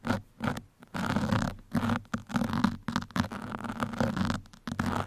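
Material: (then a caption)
Foam. Two metal pins scratch across a black foam microphone windscreen, making close, dry scratching and rustling in short irregular bursts with brief pauses between strokes. The sound is dull and low-heavy, with a soft crackly texture and little high brightness.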